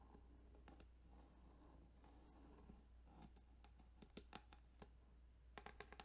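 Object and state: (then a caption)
Plastic game cartridge. Fingers tap and scratch across the ridges of a plastic Tetris Game Boy cartridge. Soft, dry scraping runs throughout, broken by sharp, bright clicks that die away almost instantly, with a steady low hum underneath.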